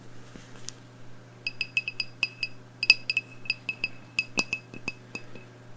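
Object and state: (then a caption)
Glass candle jar. Long nails tap eighteen times on the glass wall of a medium black glass candle jar, wax-filled and burning, held in the hands. Each tap gives a short, bright glassy clink with a ringing tone near 2.6 kHz that dies away almost at once, over a faint low hum.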